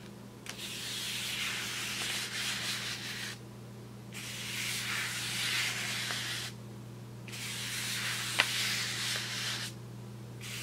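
A wide paintbrush is swept across the surface of a large, flat brown kraft paper bag with paper handles, rubbing the paper. The result is bright, hissy, scratchy brushing in long strokes separated by brief quieter pauses. A steady low hum runs underneath, and a couple of sharp little ticks are heard.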